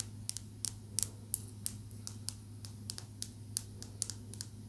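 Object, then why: Small tumbled calcite stone tapped with fingernails. A small, smooth, solid green calcite tumbled stone held in the fingertips is tapped with long nails, giving seventeen quick, dry, bright clicks that die away at once. The clicks are spaced irregularly over a quiet, steady low hum.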